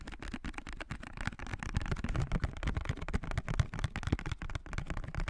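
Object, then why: Small cardboard perfume box. A small blue printed cardboard perfume box is held in both hands near the mic while fingertips and nails tap and scratch its surface. The result is a dense run of quick, dry taps and scratchy rustles that stop almost instantly, with most of the weight in low, muffled thumps.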